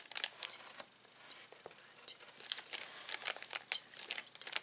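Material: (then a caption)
Plastic. A hand presses, rubs and squeezes the film of a clear plastic zip bag filled with small plastic toys. The result is quiet, bright crinkling with many short crackles and sharp rustles over a faint hiss, and no low end.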